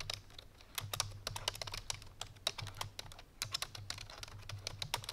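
Fingertips with painted nails on both hands type rapidly on a full-size black plastic computer keyboard resting on a white fur rug. The result is a fast, continuous stream of short, sharp, bright key clicks over a faint low hum.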